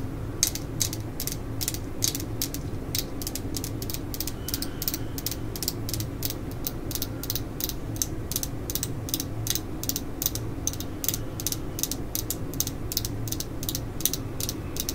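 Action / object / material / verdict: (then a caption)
tap / steel screwdriver shaft / steel / none. Long acrylic nails tap and scratch along the thin, solid steel shaft of a hand-held screwdriver. The result is a steady run of quick, bright ticks that click like a ratchet over a low, rumbling hum. Each tick dies away almost at once.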